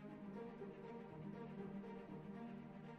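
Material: Nothing is struck.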